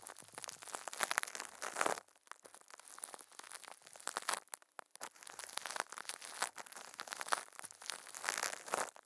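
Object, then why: Thin plastic film over a microphone. Thin clear plastic film wrapped around a microphone head is crinkled by a puppet's furry hands, giving close, dense crumpling and rubbing crackles with a bright, papery edge. The crinkling comes in bursts, with a brief quieter pause near the two-second mark and another just before five seconds, with no low-end body.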